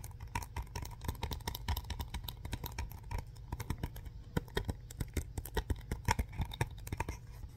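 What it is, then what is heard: Plastic DVD case being scratched. A yellow SpongeBob DVD case, a hollow hard plastic case inside a printed paper sleeve, is held in the hands and slowly gripped and scratched by fingertips and nails. Dense, quick dry ticks and scratchy clicks patter on top of a low, muffled handling rumble, with a faint steady tone in the mid range.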